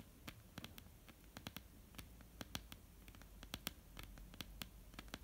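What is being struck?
Wooden table.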